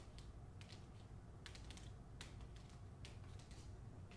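Long fingernails tap and scratch the back cover and spine of a closed paper-covered hardcover book, *The Hacienda*, held first at an angle and then by the spine. Quiet, sharp, bright clicks and brief scratches come in scattered bursts over a steady low rumble.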